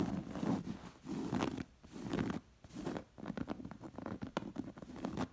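Long nails scratch and trace the dense floral embroidery and fringe edge of a round, stuffed embroidered cotton pillow. Slow, swelling passes of dry, rasping fabric scratching give way to quicker, choppier scratches in the second half.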